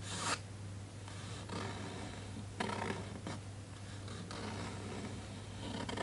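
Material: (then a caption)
Paper. A fingertip and short nail trace and scratch across the printed paper page of an open hardcover children's picture book lying on a desk. Soft, dry rasping strokes with brief brighter scrapes sound over a steady low hum.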